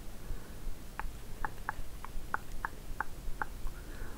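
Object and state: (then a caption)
Small cardboard box. Long nail tips tap and scratch a small, hollow pink and white cardboard box held in both hands. Brief, light clicks land at an uneven pace of a few per second over a steady soft hiss, each dying away almost at once.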